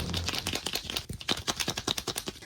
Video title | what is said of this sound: 🍿 MORE! Mini Verse Target Food Favorites + Mini Retro Popcorn Tub with a Tropical Twist Remix! | you can hear the muffle of the packaging in there but I'm not getting that same big knocking sound